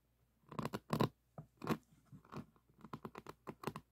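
Fingertips and thumbs rub and scratch across a resin-bead diamond painting on a board. About fifteen short, dry, crackly scratching bursts come at an uneven pace, each with a fuller low-mid body and faint bright edges. The bursts stop at once, with no ring between strokes.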